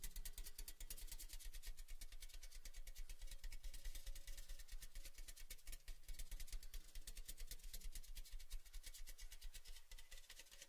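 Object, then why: Cylindrical metal gift tin. A tall, cylindrical, orange-red printed metal Baileys gift tin, hollow, empty and open at one end, is held in both hands and tapped rhythmically with the fingertips along its side. The quick, steady tapping blends into a continuous low, hollow drumming hum with bright, crisp metallic ticks on top.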